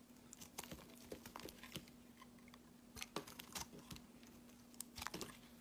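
A metal box-cutter blade shaves slices off a pale green solid soap bar. Quiet, crisp crackling and crunching scrapes come in short bursts, with bright, brittle edges. A faint steady hum runs underneath throughout.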